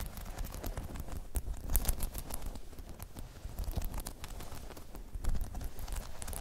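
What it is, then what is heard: Spiky rubber balance pod. Long chrome nails scratch and tap rapidly across a hollow, dome-shaped spiky rubber balance pod, making a steady, soft patter of dull, low thuds with faint bright clicks on top. The taps are short and dry, and they swell slightly louder around the middle and near the end.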